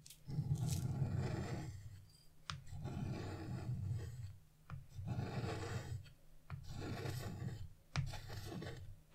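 A blue-nailed hand scrapes wax-coated scratch-art paper with a flat carving chisel, removing the black coating from a large colored moon area. Five long, dry rasping strokes are heard, each a low, rough scrape with a brief tick where the chisel lifts off or sets down.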